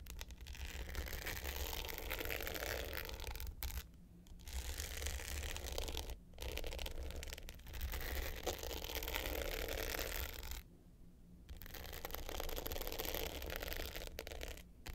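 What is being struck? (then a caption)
Hard-case clutch with glittered surface and metal frame. Long pointed nails scratch the dark blue glitter top of a small rectangular hollow hard-case clutch with a gold metal frame, lying flat. Dense, gritty scratching runs in long bursts with brief quiet gaps around 4, 6, 11 and 15 seconds. The texture carries a low rumble and a bright rasp.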